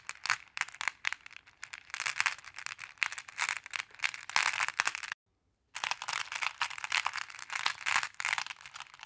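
Fingers with long nails dig into and stir a wooden tray heaped with small, solid, flat glass pebbles, making them rattle and clack together. The sound is a dense, continuous stream of crisp, bright clicks with almost no low end and very short decay. It breaks off into a brief silence about halfway through before resuming.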